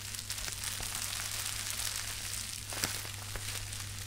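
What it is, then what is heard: Plastic bubble wrap being crushed. A small wad of plastic bubble wrap is squeezed and crushed by both hands, producing a continuous bright crinkling hiss with a few sharp pops as bubbles burst, the loudest near the end. A steady low hum runs underneath throughout.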